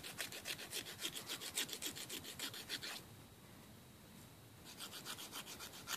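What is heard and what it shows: A thin, flat, solid emery board nail file is rubbed quickly back and forth across short fingernails over a wooden table, making a steady run of bright, raspy filing strokes. The filing pauses for just over a second of near-silence, then the quick, high, scratchy strokes resume.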